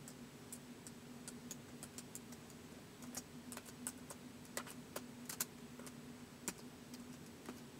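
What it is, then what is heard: Plastic laptop keyboard being typed on. Fingertips type slowly on the keys of a white plastic laptop keyboard, producing short, bright, dry clicks at an uneven pace. A faint steady low hum runs underneath the keystrokes.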